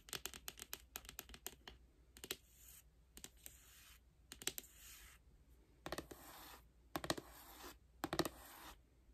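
Long nails tap and scratch the front cover of a hollow, lime-green rigid cardboard album box. Quick clusters of sharp, dry taps come first, then hissy, bright scratching strokes alternate with bursts of tapping. The box gives a light, hollow knock with almost no ring.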